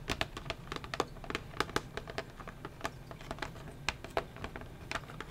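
Fingernails tap and scratch along the edge and clear plastic window of a flat cardboard sketching-set pencil box, making a rapid, uneven patter of short, dry clicks. Each tap dies away almost instantly over a faint, steady low hiss.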